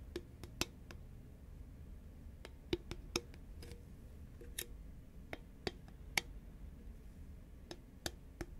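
Long fingernails on both hands tap a hollow, green Pringles can (a composite cardboard tube), first tilted and then upright. About sixteen sharp, bright clicks, irregularly spaced, each dying away almost instantly over a steady low background hiss. The taps stay quiet and dry, with a hollow, papery tick.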